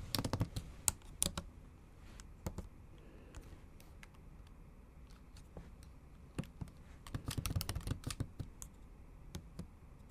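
Long acrylic nail tips and fingertips tap the backlit black plastic keys of a MacBook Pro in a silver aluminium body in a typing motion. Quick, sharp, bright clicks come in irregular bursts, densest at the start and again near the end, with quieter pauses between over a low steady background.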